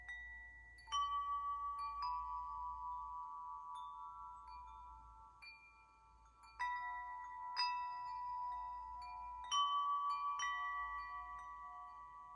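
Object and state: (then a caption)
Metal tube wind chime. A hand-held wind chime of long hollow metal tubes is knocked by the fingers of the free hand, striking the tubes and clapper. It produces several clear, bell-like ringing tones centered around 1.1 kHz with bright overtones, each note sustaining for about two seconds and overlapping the next.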